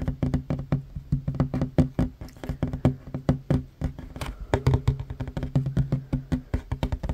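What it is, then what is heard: Wooden table. Short fingernails of one hand tap fast on a worn, solid wooden tabletop with a large surface. About forty quick, dry knocks follow one another in uneven bursts over seven seconds. Each knock is low and thudding with a dull woody tone, dies almost instantly, and has almost no bright edge.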